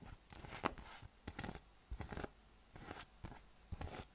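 A yellow, hollow, inflated PVC spiky massage ball with nubs is held in one hand and tapped and scratched with the fingertips and nails. Soft, dry scratching and crinkly bursts with a bright hiss come in short clusters, mixed with faint, dull low taps. The sounds are quiet and separated by brief pauses.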